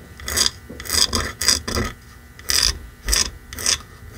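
Fingertips and nails scratch and tap the face of a small red painted wooden block sign, solid or boxed, reading "It's beginning to look a lot like Christmas," as it lies on a fur rug. Short, bright, raspy scratching bursts repeat at an uneven pace, with faint dull taps underneath and quiet pauses between strokes.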